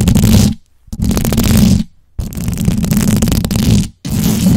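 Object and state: Knit fabric microphone cover being scratched.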